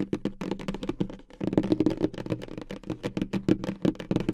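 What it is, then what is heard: Cardboard gift box. Long acrylic nails tap rapidly on the lid of a hollow, medium-size pink polka-dot cardboard gift box. The result is a dense, quick stream of short, dry clicks with a hollow, boxy resonance around 300 Hz. Each tap dies away almost instantly, and the taps blur together in the busier middle section.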